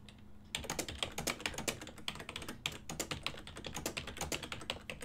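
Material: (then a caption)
Plastic. Fingertips type fast and continuously on a full-size ergonomic silver and black plastic desktop keyboard with hollow key switches. After a brief quiet start, a dense stream of short, bright, hollow plastic clicks follows, each dying away almost instantly. A faint steady low hum sits beneath the typing.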